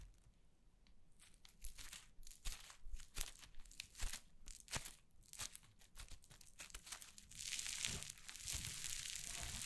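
White cloud slime on a wooden table is torn apart and pressed with fingers and long nails, giving quiet, irregular bursts of soft tearing and crinkly crackling. Toward the end, the sound thickens into a denser, bright fizzing crackle.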